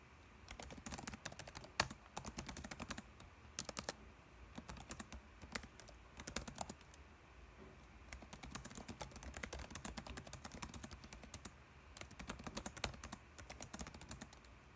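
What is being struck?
Plastic laptop keyboard keys.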